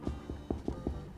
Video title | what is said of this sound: Benjamina’s Veggie-Forward Irish Soda Bread - In The Kitchen With | it sounds hollow when you tap it so we know it's all cooked